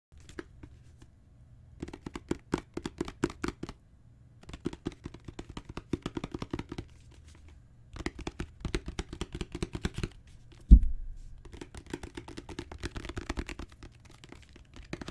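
Long natural fingernails and the fingertips of both hands tap on a solid, dark brown genuine leather book cover with raised spine bands. Quick, dull, low tapping comes in bursts separated by short pauses, with one louder, deeper knock about two-thirds of the way through.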